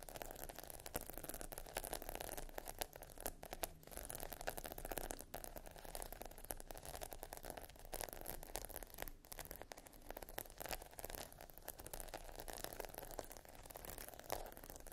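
A flat sheet of adhesive plastic half-pearl stickers on a dark backing is scratched and tapped across with long nails. The result is a dense, continuous run of quick, dry clicks and scraping rustles with a steady low hum beneath. Each tick dies away almost at once.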